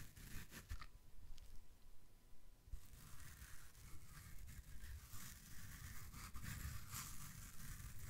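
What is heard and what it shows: A small, soft, porous yellow foam kitchen sponge with a scouring side is held in both hands and scratched and squeezed with the fingertips and nails in front of the mic. The result is a continuous close-up scratchy rustle with crackly, tearing-like bursts of bright texture over a low, dull rumble.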